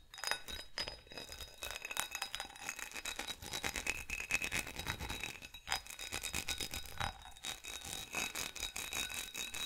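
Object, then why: Faceted glass goblet. Fingernails scratch and tap the ridged bowl and stem of a hollow, empty, faceted glass goblet held in both hands. Rapid, dense clicks and scrapes fill the clip, with a bright glassy ring near 2.5 kHz. Each tap dies away almost at once, and there is little low end.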